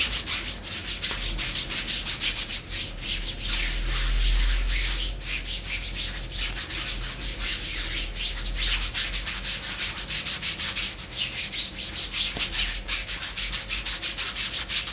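Long pink nails on both hands scratch and rub a raised thigh covered in black glossy faux leather leggings, a thin, soft layer stretched over the leg. Quick, bright scratching and rubbing strokes repeat about three times a second in an uneven rhythm, with a steady low hum underneath.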